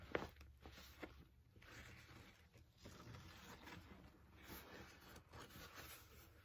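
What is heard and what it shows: Fingertips tap and lightly scratch the top flap of a medium-size black padded nylon Celestron binocular carry case, likely with binoculars inside. Soft, muffled taps, a couple of them sharper, sit among quiet, papery fabric rustles and scratching swishes. The whole clip stays low and close.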